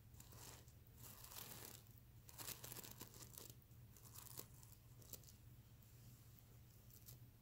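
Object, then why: Plush pillow with plastic sequins. Fingertips and nails brush across the plastic sequins of a soft stuffed plush pillow, making a bright, crinkly scratching and rustling with louder swells and a few sharp ticks. A steady low hum runs underneath throughout.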